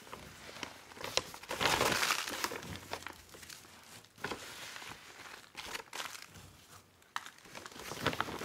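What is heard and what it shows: Gloved hands squeeze and rub a large, full, yellow printed plastic garden soil bag that is open at the top. The result is irregular bursts of bright, dry crinkling and crushing plastic with sharp crackly snaps. A dense, louder stretch comes early in the clip, followed by quieter rustling and scattered sharp crinkles.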